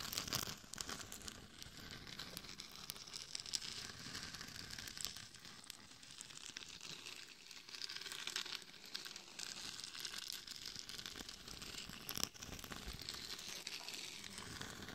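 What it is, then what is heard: Glitter-coated mannequin head scratched with nails. Long nails scratch across the face and temples of a glitter-covered hollow mannequin head microphone. The result is a steady, dense, bright crackling and crinkling texture with little low end, punctuated by a few sharper scratches near the start and around twelve seconds.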